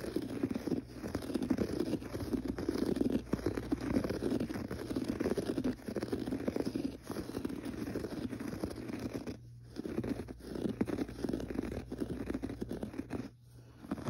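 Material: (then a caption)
Carpet fibre. Fingertips scratch the pile of a gray textured carpet on the floor, making a dense, continuous rustling scratch centered in the low mids, over a steady low hum. The scratching runs almost without a break, dipping briefly near the 9.5- and 13-second marks before picking up again.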